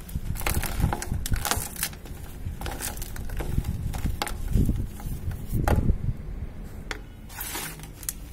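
Fingertips with painted nails crush and crumble clumps of loose grey dry cement powder in a plastic bucket and stir the powder. The result is a continuous dry, gritty crunching and crackling with soft low-weighted rustling, broken by brief brighter crisp bursts as lumps break apart.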